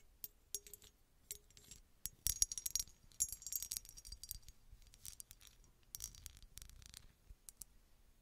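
Long red nails scratch and tap a small, hollow, red embossed glass bottle with a textured surface that appears empty. The result is quiet, bright clicks and rapid scratchy rustles, mostly high in pitch, with very short ring and bursts that come in irregular clusters.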